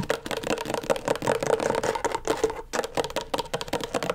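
Long stiletto nails rapidly tap and scratch the plastic surface of a flat, thin, backlit rectangular LED tracing pad. The result is a fast, dense run of short, dry clicks and scrapes with little low end, a steady hollow ring near 460 Hz, and bright scratchy hiss on top.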